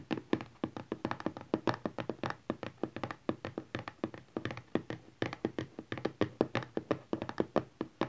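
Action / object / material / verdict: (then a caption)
tap / cardboard smartphone box / cardboard / none. Rapid tapping with the nails and fingertips of both hands on a closed, hollow, teal printed cardboard smartphone box lying flat on satin cloth. About fifty quick, dry, hollow taps sound in an uneven, continuous patter, each dying away almost instantly with a mid-pitched body and little deep or bright content.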